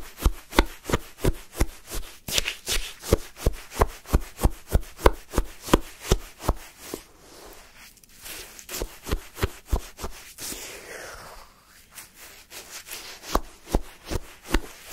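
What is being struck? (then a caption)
Wooden spoon scraping icy lemon sherbet. A wooden spoon scrapes and scoops through a cup of pale, granular lemon sherbet shaved ice. It makes rapid, crisp, crunchy scraping strokes, about three per second, with brief softer lulls near the middle and toward the end.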